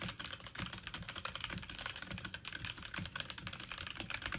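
Fast typing on a full-size backlit mechanical computer keyboard with plastic keycaps, the keys pressed with fingertips and medium nails. A rapid, steady stream of bright, sharp plastic clicks and clacks, with soft low thumps as the keys bottom out, continues for the whole clip.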